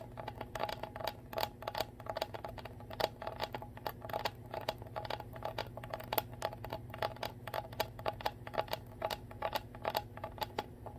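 Long nails tap and scratch along the ridged, clear plastic bottom of a full Core water bottle. The result is a rapid stream of short, crisp clicks with a mid-pitched plastic ring and bright scratchy edges over a steady low hum, each tap dying away almost at once.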